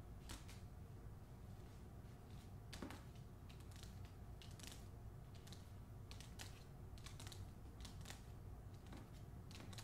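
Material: Paper.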